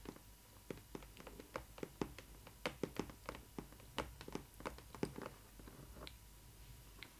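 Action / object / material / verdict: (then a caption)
tap / printed cardboard box / cardboard / none. Long nails tap and scratch the side and top of a printed cardboard doll box for a Disney Ily 4ever Stitch doll. About 25 quick, dry taps land at an uneven pace, with faint scratching in between. Each tap is a short, hollow click that dies away almost instantly over a quiet background.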